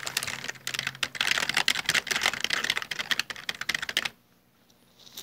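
Both hands type rapidly with their fingertips on a full-size black plastic Dell desktop keyboard with hollow keycaps, giving a dense run of bright, short clicky key taps. The typing stops after about four seconds, leaving near silence with only a faint high hiss.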